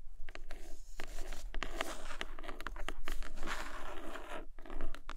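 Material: Cloth, board.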